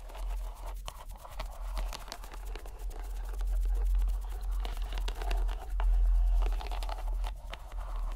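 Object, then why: Soft rubber stress ball in a string net. A fist-sized, soft green rubber squishy stress ball in a white string net is squeezed and kneaded by fingers and palm. Soft crinkling, crunchy squelches and faint scratches repeat continuously over a steady low hum, swelling at times.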